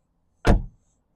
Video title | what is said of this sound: 2015 MG 3 Form Sport Vti-Tech | I do love that solid sound. Listen, it doesn't sound tinny.